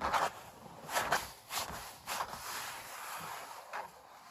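Long black nails on both hands scratch and scrape the thick paint ridges of an oil painting of puppies on stretched canvas. Short, dry, bright scratching bursts with a papery rasp come at uneven intervals over a faint background hiss.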